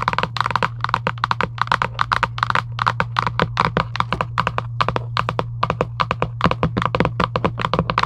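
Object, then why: Cardboard game box lid. Long nails tap quickly on the lid of a large, flat Giant UNO cardboard game box resting on a table. The rapid, dry, short taps have a hollow midrange knock and sit over a steady low hum throughout.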